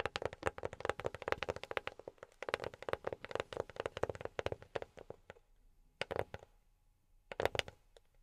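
A box is tapped with silicone rubber pads on the fingertips, producing rapid, dry, short taps with a muffled tone around 550 Hz. The taps run in quick flurries for about five seconds, then come in two brief clusters separated by near-silent pauses.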